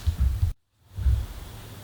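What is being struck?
Nothing is struck.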